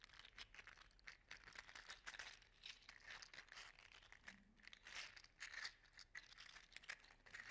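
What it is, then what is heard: 3D-printed plastic articulated slug toy. A regular-size hollow, segmented 3D-printed PLA slug toy in orange/gold silk filament is held in one hand while its segments are wiggled and flexed against each other. A steady, dense stream of quick, dry plastic clicks and rattles follows, bright and crinkly with little low end, centred around 1.9 kHz.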